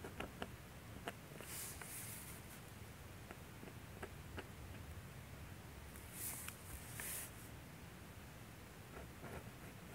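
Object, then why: Metal dip pen nib on drawing paper. A metal G-pen dip nib, held in the fingers, scratches across a thin sheet of manga drawing paper lying flat on a light box while a face is inked. Faint, continuous scratchy nib strokes run throughout over a low rumble, punctuated by short, sharp ticks. Two brief bright hissing swells occur around the middle and later on.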